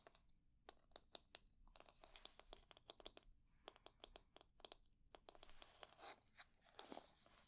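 Long nails scratch the wooden pins of a wooden hair brush and tap its wooden handle. The result is a quiet series of sharp, bright clicks and crisp scratches with almost no ring, clustered in bursts and growing into denser, brushier scratching near the end.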